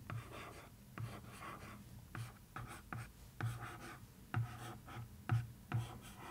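A nail and then a wooden stick trace and scratch across a cardboard box lid printed with newspaper. The result is a dry, papery rasp of repeated strokes with soft thuddy onsets. Nine distinct contacts stand out over the steady scratching.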